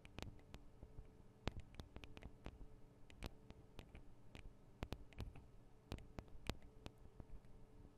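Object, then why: Metal and plastic microphone capsules on a handheld recorder. Long acrylic nail tips tap on the small hollow metal and plastic microphone capsules of a Tascam DR-40 recorder. The result is a quiet, irregular series of short, dry clicks that die away almost instantly. Each tap has a brief bright edge over a soft, low body, with a faint steady hum underneath.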